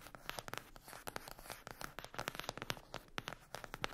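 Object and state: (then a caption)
Cardboard eyeshadow palette. Long acrylic nails scratch and tap the lid of a flat rectangular cardboard eyeshadow palette with a printed glossy cover, lying on a fluffy mat. The result is a rapid, irregular run of dry, crisp clicks and raspy scratches that stop instantly with no ring.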